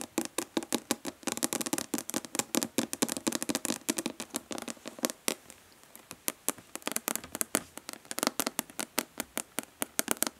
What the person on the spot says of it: Nail tapping on plastic body lotion bottle.